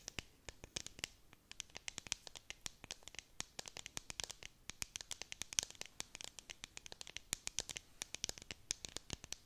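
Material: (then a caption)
Plastic. Long nails scratch and tap a clear, hollow plastic tumbler with a bead-decorated dome lid and confetti inside, held close to the mic. A steady run of quick, crisp clicks and scrapes sounds bright and dry, with almost no low end and no ringing.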